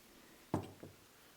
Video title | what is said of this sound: Honda Magna 1994-2003 Cam Chain Tensioners - Are They Repairable? | that sleeve that is in here, that's actually what's making the noise when you shake it